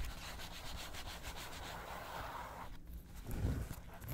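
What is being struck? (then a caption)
Glossy paper magazine pages. Long acrylic nails scratch and tap the pages of an open, thin glossy paper magazine lying on a table. A steady, rapid scratching with a faint papery brush continues for most of the clip, then briefly dips before a few soft, low thumps of tapping near the end.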